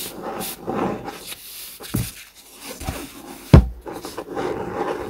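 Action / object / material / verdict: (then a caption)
scrape / hardcover notebook with laminated cardboard cover / cardboard / none. Fingertips and nails rub and scratch the laminated cardboard cover of a blue COMIX hardcover notebook lying on a desk mat. Soft, dull scraping and brushing sounds come and go, mostly low in tone, with a few brief knocks and one sharp thump standing out near the end.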